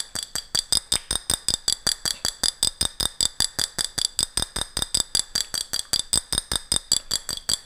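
Long fingernails tap and scratch a medium, ribbed, clear glass jar with a gold metal lid, held close in front of the mic; the jar is hollow and empty. About 40 quick, crisp taps follow one another at a fairly steady pace, each with a bright, high glassy click and almost no ring.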